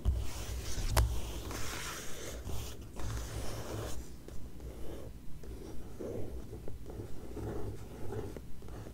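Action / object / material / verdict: scrape / glossy paper magazine pages / coated paper / none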